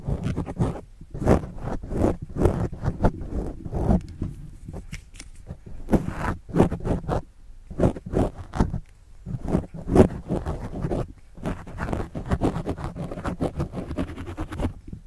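A pen tip scratches and writes across a black foam windscreen on a microphone held in one hand. It makes close, muffled, low-heavy rasping strokes in quick bursts, separated by brief pauses.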